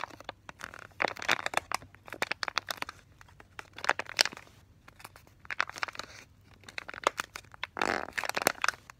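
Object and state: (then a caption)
Foil-laminate pouch, full. A hand-sized, full foil-laminated plastic pouch of Delta-Lite casting tape, with a soft roll inside, is squeezed with fingertips and nails and shaken. It gives crinkly, crushing crackles in bright, sharp bursts separated by brief quiet gaps.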